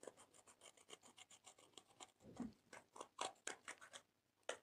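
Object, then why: Pressed powder in a plastic palette, scraped with a metal tool. A blue-handled, metal-tipped tool scratches and scrapes pressed colored powder out of the pans of a small clear plastic eyeshadow palette, held by long-nailed fingers over a slime tray. About twenty quick, dry, gritty scrapes follow one another in a steady rhythm, each bright and raspy with no ring. A louder scrape closes the clip after a brief pause.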